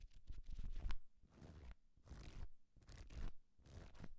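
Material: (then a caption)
Paper. Fingertips and nails scratch and tap along the page edges and cover of a small, thick paperback book held in the hand. Quiet bursts of dry, papery scratching and rustling come in short waves with soft taps, over a low, dull rumble.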